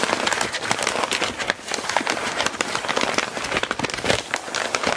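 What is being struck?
Crumpled kraft paper sheet.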